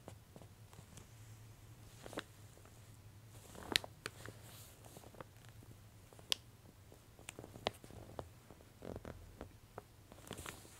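Long-nailed fingertips press and rub the center spread and page edge of an open, thin, glossy-paper J. Jill women's clothing catalog lying on a table, staying on the same pages throughout. Quiet, bright paper rustling and small crinkles are broken by about eight sharp, brief ticks and crackles, over a faint low steady hum.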